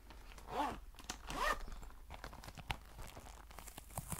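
Long white nails scratch and tap along the fabric and leather surface of a tan, soft, cylindrical faux leather pencil case, apparently filled and held close to the microphone. Two louder, rasping sweeps rise and fall in pitch early on. Quieter, irregular scratches and crisp taps follow, with a few sharper clicks near the end.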